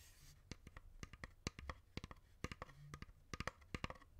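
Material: Wood.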